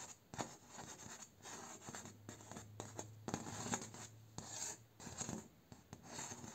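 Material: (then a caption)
Bamboo. A single fingernail and fingertip scratch and rasp along the vertical bamboo slats of a door near the nodes, making dry, bright scratching strokes with short sharp clicks as the nail crosses the ridges. The strokes come in uneven bursts over a quiet, close background with a faint low hum.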